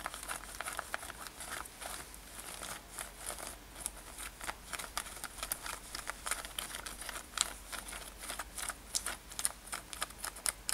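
Long nails scratch rapidly over a worn light-blue denim lace-up top with metal eyelets. A quick, steady run of short, bright, rasping strokes with a crinkly texture sits over a faint low hum, with a few sharper scrapes standing out near the end.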